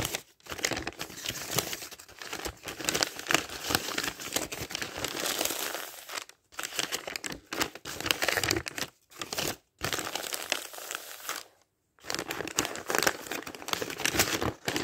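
Fingers ruffle and turn a thick stack of thin dictionary pages up close, making dense, bright crinkling and rustling with little low end. The paper noise runs in steady bursts broken by a few brief silent gaps as pages are flipped.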